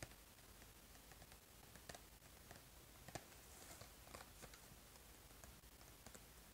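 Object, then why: Small printed cardboard box. A small printed cardboard box of crayon-shaped erasers is held in one hand and turned front to back while the fingertips and nails of the other hand tap on it. Quiet, sparse, dry clicks and light taps sound over a low steady hiss, each one dying away almost instantly.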